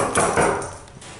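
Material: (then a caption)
Sheet metal. Three taps on the door panel of a ThyssenKrupp Endura MRL elevator, a door that differs from regular ThyssenKrupp doors, at a King of Prussia mall. Each tap gives a short, mid-pitched hollow ring that fades quickly.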